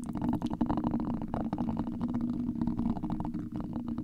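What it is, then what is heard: Metal mesh microphone grille being scratched and tapped. Two gold metal massage-stick tools held in both hands scratch and tap a large, hollow, black metal wire-mesh microphone grille. The result is a dense, continuous stream of muffled, rumbling scrapes and quick taps over a steady low-mid drone, with almost no bright high end.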